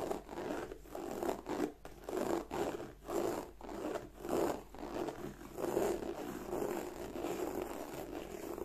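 Long nails and fingertips scratch and rub the scales of a black croc-embossed leather bag. A steady run of raspy, zipper-like strokes rises and falls, with a dry, mid-pitched body and a faint bright hiss. The scraping continues evenly throughout, with no ring after each stroke.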